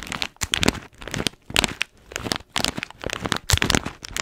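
An orange paper-foil coffee bean bag with blue tape is held in one hand while long nails scratch and tap along its top. Bursts of bright, dry crinkling and crackling come in quick clusters, with soft gaps between them.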